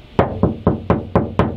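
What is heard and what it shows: Six knocks on the bare steel interior body panel of a Troopy, on the side without sound deadener, each giving a hollow, tinny thud with a brief ring around 400 Hz. The undamped panel resonates and echoes through the vehicle body.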